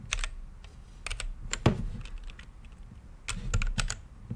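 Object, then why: Mechanical keyboard with plastic keycaps. Fingertips type on a mechanical keyboard with plastic keycaps in a clear, lit acrylic case. Irregular clusters of sharp, short key clicks pair a bright clatter with a low thock, each keystroke dying away almost at once between brief pauses.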